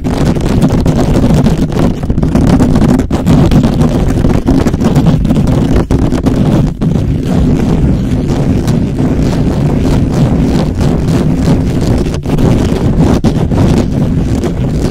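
Fingertips and short nails rapidly scratch the hollow, perforated metal mesh grille of a black microphone. The result is a loud, dense, continuous rumbling scrape heavy in low frequencies with a steady hum-like pitch, with only brief momentary dips in level throughout.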